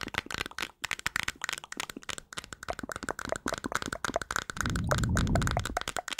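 A small, hollow, round white-and-blue plastic cream jar is held in the hands while long nails tap and scratch its white lid. A quick, irregular run of sharp, crackly clicks fills the clip, and near the end it swells into a louder, low rumbling scratch with taps still clicking over it.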